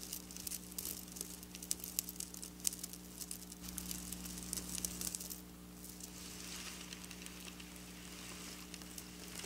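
Long black nails scratch over flat silver sequin fabric lying on a table, making dense, bright, crackling rasps with sharp clicks over a steady low hum. The scratching is busiest and loudest through the first five seconds, then settles into a softer, smoother hiss.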